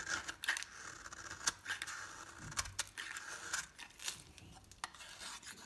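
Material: Soap.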